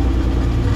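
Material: Nothing is struck.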